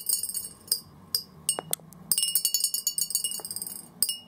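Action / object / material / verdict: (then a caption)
drop / glass jar and plastic balls / glass / none. Small orange plastic BB balls drop one at a time from above into a large, hollow clear glass jar resting on carpet, bouncing on its glass bottom. Each bounce makes a bright, glassy clink with a very short ring. A few spaced drops are followed by a quick flurry of rapid bouncing clicks, then one final clink.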